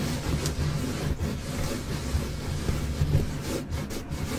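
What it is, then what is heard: Car floor carpet being scratched. Both hands scratch and rub the flat, solid black textile carpet or floor mat of a Jeep with long nails. It makes a steady, dense scratching and rubbing texture that is mostly low and rumbly with little brightness, swelling slightly in places without clear separate hits.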